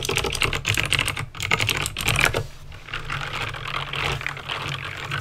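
Fingertips with medium painted nails type fast on a full-size backlit Razer BlackWidow plastic mechanical keyboard with plastic keycaps and clicky green switches. Rapid, bright clicks clatter with a steady low hum underneath. The typing turns softer and more blended in the second half.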